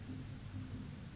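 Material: Nothing is struck.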